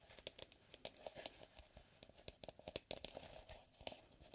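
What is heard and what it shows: Fingers and fingertips tap and scratch the outer wall of an empty, medium white plastic mixing bowl with a pouring spout, held upright on a wooden table. A quick, irregular run of short, dry taps with a hollow tone around 570 Hz is mixed with bright, crinkly scratching.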